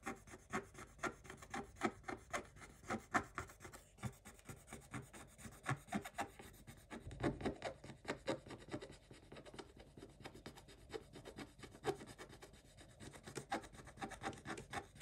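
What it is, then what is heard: Scratch-off coated paper page. A wooden stick scrapes across a Paw Patrol scratch-art page in a spiral notebook: thin paper with a black scratch-off coating over a glittery blue print. Quick, repeated dry rasping strokes carry a bright scratchy texture, and black flakes come off.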